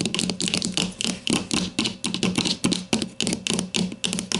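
Long matte mauve nails tap with their tips on the top surface of a grey-green plastic deodorant stick with a hollow casing, lying on its side on a white table. A quick, uneven run of sharp, bright, typing-like clicks follows, each with a short hollow knock underneath that dies away almost at once.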